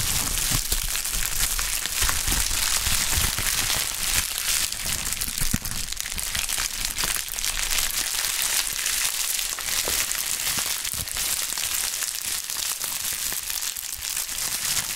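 A pink polyethylene bubble wrap sheet is squeezed and crushed by gloved hands and pressed against a table. The result is a steady, dense crinkling and crackling with a bright, hissy texture and sharp little snaps scattered throughout.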